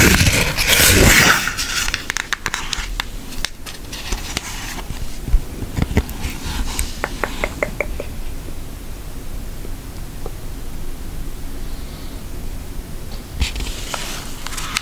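Long nails tap on an orange cartoon-face cardboard eyeshadow palette, which is then opened to show the pans. Bright, quick clicky taps come in uneven bursts over a soft, low background, with a louder rustling crinkle at the start and again near the end.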